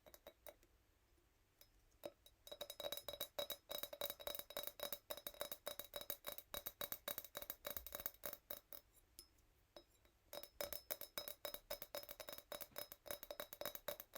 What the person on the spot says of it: Tiny wine glass sound. The sound is pretty bright